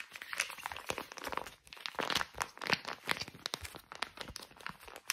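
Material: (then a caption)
Soft plastic. A small, soft plastic pouch of facial wipes, white with green print, is crinkled, scratched and tapped with fingernails. A dense, bright stream of crisp crackles, scratches and quick dry taps sits mostly in the upper frequencies, with almost no low end and no ring after each sound.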